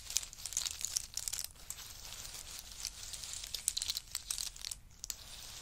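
Fingertips of both hands dig into a heap of dry roasted pistachios in hard shells on a fur mat, stirring, rummaging and letting them fall. A steady stream of bright, crisp clicks and rattles comes from the shells knocking together, with little low end. Sharper clusters of clatter break through when the nuts drop.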